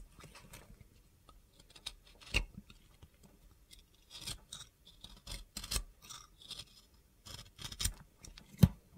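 An oval, translucent blue bar of soap with a glitter coating is held in the hand while a box cutter blade scrapes and carves it. The result is a run of quiet, short, crisp scraping and cutting strokes with brief bright, gritty bursts and a few sharper clicks, the loudest near the end.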